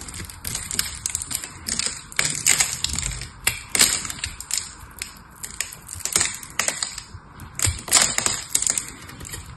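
A pink and blue solid bar of soap, held in one hand, is shaved and scraped with a small metal knife, with flakes breaking off while foil-wrapped soaps lie untouched on the table. Dense, crisp scraping and crackling strokes come in irregular bursts, sounding bright and hissy with very little low end.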